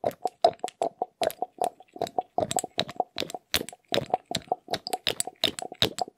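A small dark glass dropper bottle with a rubber bulb pipette is handled quickly: the pipette is moved in and out and the bulb is squeezed with fingertips. The result is a fast, irregular run of short wet plops, clicks and squelches, each with a light hollow tone around 690 Hz and bright high ticks. The sounds stop almost instantly with no ring.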